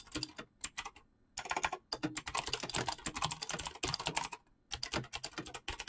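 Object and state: Mechanical keyboard with PBT keycaps.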